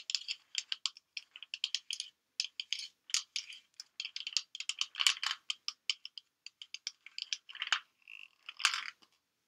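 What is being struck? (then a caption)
Plastic pill bottle with pills. A white plastic supplement bottle with an orange cap, full of pills, is held up, shaken and tapped with long painted nails. It makes a quiet, bright string of dozens of short, crisp pill rattles and clicky taps with no low end, and each burst dies out almost instantly. Near the end there is a brief softer, steady shake.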